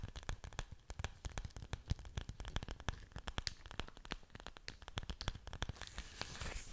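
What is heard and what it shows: Long nails scratch along the leaf surfaces of an orchid plant with roots, held sideways close to the mic. The result is a quick, uneven run of dry, crackly scrapes and sharp little clicks with a soft low thump beneath. It ends in a brighter, hissier rustle over the final second.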